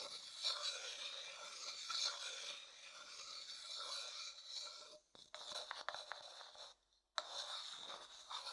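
A thin wooden stick rubs and scrapes around the inner surface of a medium, hollow, empty light wooden bowl, making a steady, bright, raspy scraping with no low end. The scraping breaks off briefly around 5 seconds and again just before 7 seconds, with a few sharper ticks in between, then resumes at the same level.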